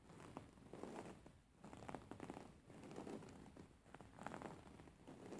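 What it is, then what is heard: Embroidered linen pillow. Fingernails tap and scratch across the surface of a beige embroidered linen pillow with stitched fabric. Quiet, dry scratching rustles and soft taps come in short bursts with brief pauses, mostly muffled and low-to-mid in tone with little brightness.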